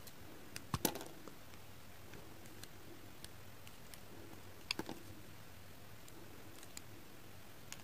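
A solid translucent pink glycerin soap piece held in the hand is shaved with a pink kitchen knife, with flakes piling up behind it. Sharp, brief scraping clicks stand out over a quiet background: a quick cluster near the start, another pair just before the five-second mark, and fainter scattered ticks in between. Each cut carries a soft low-mid body with a bright crisp edge and dies away almost instantly.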